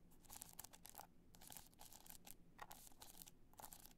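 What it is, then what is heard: Rhinestone-studded hard-shell clutch. Long nails scratch rapidly across the studs of a black multicolor rhinestone hard-shell clutch, held upright and then tilted. Quiet bursts of bright, crisp scratching and crinkling come and go over a low, steady hum.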